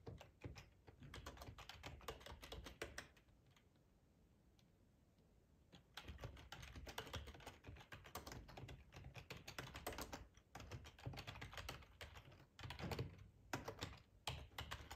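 Fingertips with short nails type on a hollow black plastic ergonomic split keyboard resting on a plaid tablecloth. Rapid, hollow plastic clacks with a thuddy low body and bright click edges pour out in dense bursts, pausing for a quiet stretch of about two and a half seconds before the typing resumes.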